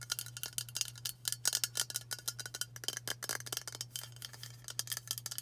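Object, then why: Aluminium aerosol spray can. Long burgundy nails tap fast on a white Dove aluminium spray deodorant can held in the hands. The result is a rapid, uneven stream of short, bright metallic ticks and clicks that die away almost instantly, over a steady low hum.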